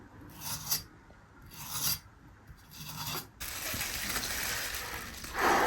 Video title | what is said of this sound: 胖龙偷懒，下两包螺蛳粉，配两只烤全鸡，爷俩吃肉嗦粉，简直太过瘾【胖龙的小生活】 | 先看那个鸡，听听这个酥脆的声音。